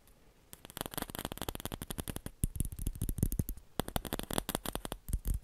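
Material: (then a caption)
Plastic. A celluloid or plastic ping pong ball is tapped rapidly in a steady stream of short, dry clicks, with a brief pause just before the four-second mark. Each tap dies away almost instantly, giving a soft, low-weighted patter with only a faint bright edge.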